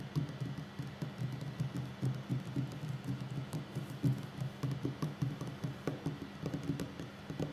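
Fingertips and short nails of both hands tap on a solid wooden tabletop in a steady, irregular patter. The taps are soft and low, with a warm wooden knock and very short ring, running continuously through the clip like light typing.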